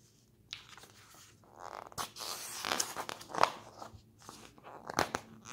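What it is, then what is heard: Glossy magazine pages turning. A glossy paper magazine lies open on a table while fingers grab and flip its pages in quick succession. Crisp, bright paper rustles and sharp snaps come in bursts separated by brief quiet gaps, with little low end and almost no ring.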